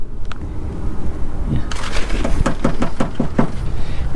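Knuckle knocks on the painted metal side panel of a repainted car with orange-peel texture and rippling down the side, a quick series of dull, short thuds over a low background rumble. The panel sounds solid and okay, suggesting no serious hidden damage.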